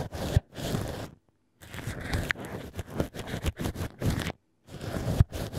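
A black ear pick scrapes inside the hole of cork wine-stopper pieces held in a plush holder, mimicking an ear. Steady, low, dull scratching comes in bursts separated by short silences, with a few sharper scrapes standing out.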